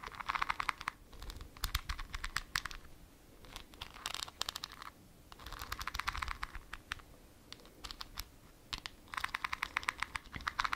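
A small, full glass jar with a white plastic lid is held in the hands while long nails scratch across the lid and the glass. Bursts of rapid, bright, clicky scratching come in several clusters separated by brief quieter pauses, with each tap dying away almost instantly.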